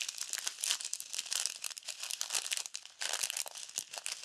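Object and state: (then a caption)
Plastic bag of foam beads. A small clear plastic bag full of tiny multicolored foam beads is squeezed and folded with fingertips and long nails. The result is a steady, quiet stream of bright, crisp crinkling and crackling with almost no low end, easing briefly near the end before picking up again.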